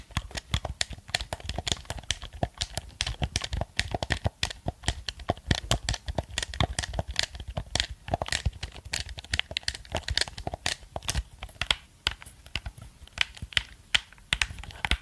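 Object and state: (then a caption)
Plastic game controller buttons clicked. A black plastic gamepad is held in front of the microphone while its buttons are rapidly clicked with fingertips and nails. The result is a dense, steady stream of short, sharp plastic clicks, each with a bright tick and a soft low thump, continuing for about 15 seconds.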